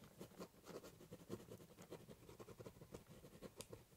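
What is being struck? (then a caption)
Ballpoint pen on corrugated cardboard box. A ballpoint pen doodles a border on the top of a large corrugated cardboard box, making quiet, rapid scratching strokes. The short, dry scrapes have a hollow low-mid tone with faint bright edges.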